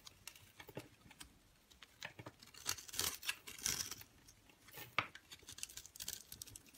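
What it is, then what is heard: Bar of soap being carved. A metal utility knife blade scrapes and carves small cubes off a solid yellowish bar of soap, pre-scored into a grid and held in one hand, with crumbs falling onto the table. Quiet, dry, crumbly scraping and crisp little cracks come in rapid, uneven bursts, mostly bright and high with very little low end.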